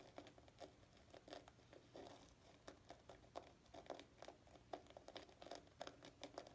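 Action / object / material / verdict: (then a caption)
scrape / wet dried-gourd loofah sponge / plant fibre / none. Painted fingernails scratch a dried, palm-sized block of natural loofah gourd sponge, a porous, hollow-textured fibrous plant material, wet with soap suds in a sink. The result is a quiet, rapid series of short, dry crinkling scratches with a mid-range tone near 700 Hz and bright edges, each fading almost at once.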